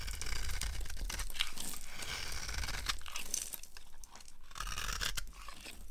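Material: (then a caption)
Soap. A small blade with a yellow handle scrapes and carves a solid, hand-sized bar of dry orange soap held in the hand, cutting it into crumbly shavings. A continuous run of dry, bright crunching and scratching strokes is heard over a low, steady rumble, easing slightly toward the end.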